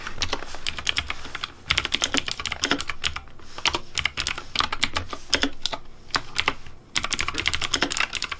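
Fingertips type on the keys of a pink plastic Razer Deathadder V3 Pink mechanical keyboard with blue backlight. Rapid, bright clacky keystrokes come in bursts with short pauses between them. Each click is sharp and dies away quickly, with a faint low thump underneath.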